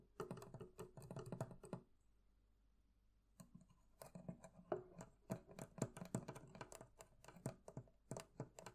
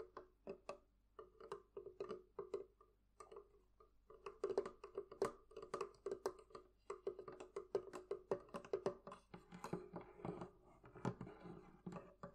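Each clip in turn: First: metal fittings of a barrel chest. Second: wooden barrel chest.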